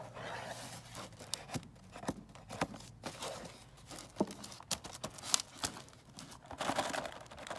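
Fingertips and nails scratch and tap a closed, printed cardboard gingerbread cookie kit box resting on a table. Dry, crinkly scraping runs through the clip, broken by many short, sharp taps with bright, papery highs. The sounds are quiet and close, and the taps stop quickly with almost no ring.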